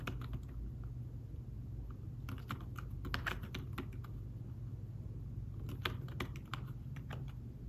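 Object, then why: Thin fabric-covered folio keyboard. Fingertips type on a thin folio tablet keyboard with fabric-covered keys, making soft, short tapping clicks. The taps come in bursts over a steady low hum, with each tap fading almost at once.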